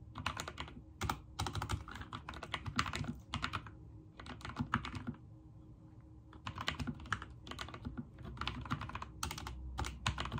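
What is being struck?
Mechanical keyboard with plastic keycaps.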